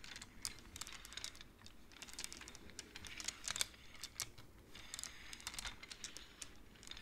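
Both hands slide and tap the wooden beads of a wooden abacus. The result is a quiet, steady stream of quick, bright clicks and soft rattles that die away almost instantly, with a few sharper taps standing out.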